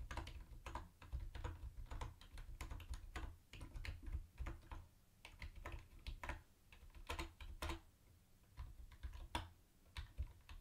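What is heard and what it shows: Fingertips tap the round white plastic keycaps of a mint-green plastic retro keyboard with a hollow case, typing one hand at a time. The result is a steady run of short, dry, bright clicks that stop quickly, over a constant low hum.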